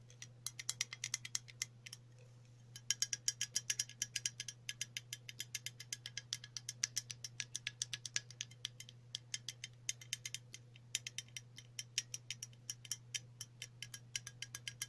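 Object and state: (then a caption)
Aluminium aerosol spray can. Long natural nails scratch and tap along the side of a hollow, cylindrical green printed aluminium spray can held near a table. The result is a rapid run of sharp, bright, high-pitched clicks and ticks with a brief pause near the start. A steady low hum runs underneath.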